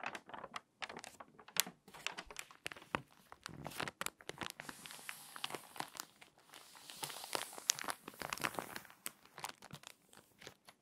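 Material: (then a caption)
Paper. An open glossy paper magazine lies flat on a table while fingertips with long nails turn its pages and smooth or crease them along the spine. Dense, dry crinkling and crisp, tearing-like rustles come in quick bursts, bright and airy with almost no low end. The bursts swell into a sustained hiss of paper in the middle.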